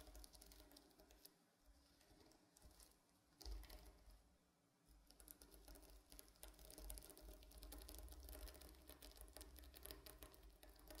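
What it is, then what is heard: Sequin fabric pillow being scratched. Medium-length painted fingernails scratch and brush across a large, flat, soft stuffed pillow covered in reversible blue and silver plastic sequins. The result is a quiet, fast, irregular patter of crisp, bright ticks and rustles over a low rumble, growing denser and busier in the second half.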